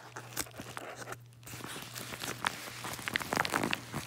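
A yellow kraft-paper padded mailer with contents inside is held in both hands while fingertips squeeze and crinkle it. The result is a run of soft, dry crinkling and crunching with bright papery crackles, a brief quieter pause near the middle, and a faint steady low hum underneath.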